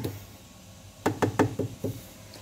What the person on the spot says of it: Ini juga sama menggunakan dari plastik seperti ini